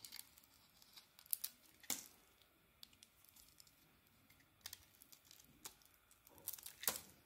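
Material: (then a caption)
Soap. A solid rectangular Alterra soap bar with a red striped coating and a lilac core is held in the hand and shaved with a metal box-cutter blade. A series of quiet, crisp, bright scraping and crinkling strokes sounds over low background hiss, with a few louder sharp shaves standing out. Each stroke is short and dry, with almost no low end and no ring after it.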